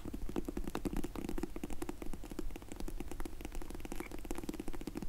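Long nails tap and scratch quickly on a closed, dark grey faux leather hard sunglasses case with an embossed logo. The result is a dense run of short, dry, muffled clicks and scraping, mostly low in tone with a slight bright crackle and almost no ring after each touch.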